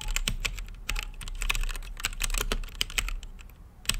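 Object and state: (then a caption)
Mechanical keyboard with plastic keycaps. Fingertips type on an RGB-lit mechanical keyboard with plastic keycaps and a clear acrylic case, producing a steady run of short, bright key clicks with crisp attacks that die away almost instantly. Each press has a sharp tone around 3 kHz over a low thump, and the presses come in quick, uneven bursts throughout.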